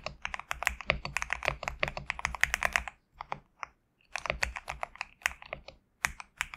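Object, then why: Mechanical keyboard with PBT plastic keycaps. Fingertips of both hands type quickly on a compact GMK67 mechanical keyboard with PBT plastic keycaps, producing dense, bright, clacky keystrokes with a very short, dry decay. The typing runs steadily for about three seconds, slows to a few scattered taps, then resumes in a fast burst to the end.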